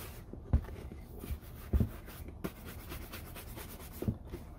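A hollow, empty brown leather Red Wing Iron Ranger work boot lies on a wooden table and is brushed vigorously by hand with a horsehair shoe brush. Soft, dry rubbing strokes are broken by several deep, dull thumps as the brush knocks against the boot. The sound is low and muffled, with very little high-end sparkle.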